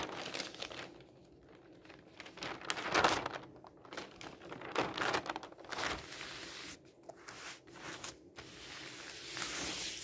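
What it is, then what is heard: Newspaper pages being turned. Fingertips turn the pages of an open newsprint newspaper lying on a table and rub them flat. Dry crinkling and rustling swells in uneven bursts, with brief papery swishes as each page turns and a softer, steady hiss as the sheets are smoothed down.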